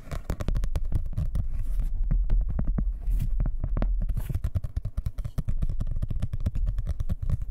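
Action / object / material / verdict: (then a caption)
tap / hardcover book cover / cardboard / none. A dark blue hardcover book is held in both hands close to the mic while fingernails tap and scratch rapidly on its cover. The result is a dense, nonstop stream of quick, deep, bassy thumps with faint scratchy texture, each tap dying away almost at once.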